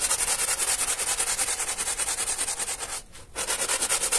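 A small teal hand brush scrubs a wet, soap-foamed flat pile carpet lying on a plastic sheet, moving in straight back-and-forth strokes while the other hand steadies the carpet. The result is a steady, bright, hissing swish in a fast rhythm, with a short pause just after the three-second mark before the scrubbing resumes.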